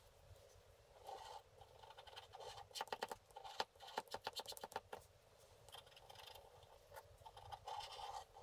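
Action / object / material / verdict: scrape / scratch-art paper card with black coating, scraped by a wooden stylus / coated paper / none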